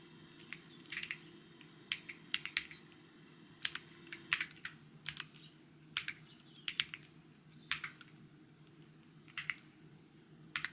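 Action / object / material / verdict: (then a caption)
tap / mechanical keyboard with plastic keycaps / plastic / none. Fingertips tap on the plastic keycaps of a white mechanical keyboard in uneven bursts of typing. Each keystroke gives a short, bright, dry click that dies away almost at once, over a faint steady low hum.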